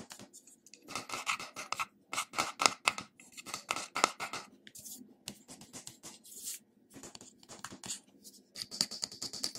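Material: Metal, glass.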